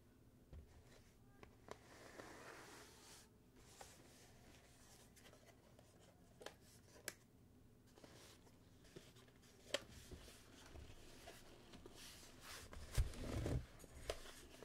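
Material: Cardboard.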